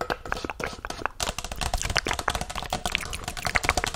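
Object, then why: Paper cup. Long nails rapidly tap and scratch the printed side of a hollow white Chipotle paper cup held close to the microphone. The result is a dense run of dry, crisp clicks with papery scraping between them, bright and with almost no ring after each tap.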